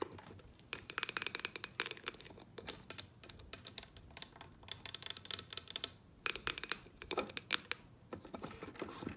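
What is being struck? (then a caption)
Plastic tumbler cup. A clear double-walled plastic tumbler, about 20 cm tall with a clear lid, a teal straw and a teal band, hollow and filled with an iced drink, stands on a table and is tapped and scratched on its lid and sides with long painted nails. Rapid, bright, crisp clicks and scratchy ticks come in quick bursts separated by short pauses, each tap dying away almost instantly with little low end.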